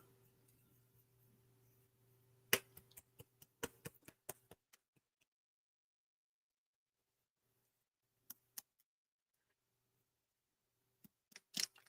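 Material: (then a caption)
Metal. A paint marker with a metal mixing ball is shaken before priming, and the ball rattles inside as sharp, bright clicks that come in quick bursts separated by quiet gaps, over a faint low hum at the start. The rattle shows the ball moves freely, so the paint is being mixed as it should.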